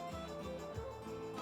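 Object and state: Nothing is struck.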